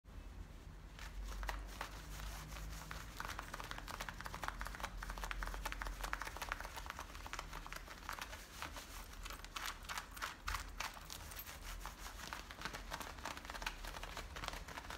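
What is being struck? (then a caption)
Denim jeans fabric. Long painted fingernails and fingertips scratch and rub the frayed waistband of worn, light-blue, high-waisted denim jeans near the metal zipper. The result is a steady, dense stream of quiet, bright, crinkly scratching strokes over a constant low rumble throughout.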